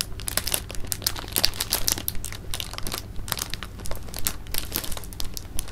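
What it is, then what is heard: Plastic bag of jelly beans being handled. A clear plastic bag of jelly beans is held and rolled in the hands while the fingers crinkle the film. The result is dense, irregular crinkling with bright, sharp crackles and short rustling bursts, over a steady low hum.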